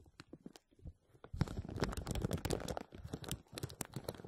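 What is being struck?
Plastic bag over a metal mesh strainer.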